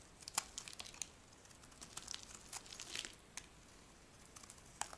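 A metal knife blade shaves and scrapes thin curls off the edge of a solid, palm-sized white bar of dry soap held in one hand. The sound is a quiet, dry, crinkly scraping made of many short, sharp strokes. It is bright and high, with almost no low end and no ring after each stroke.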